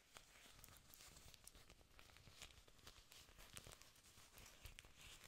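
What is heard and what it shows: Long nails scratch and rub the thick, glossy, green leaves of an artificial plastic orchid plant with aerial roots at its base, close to the microphone. Quiet, continuous crinkly scratching fills the high range, with brighter sharp ticks popping out over a soft low rumble.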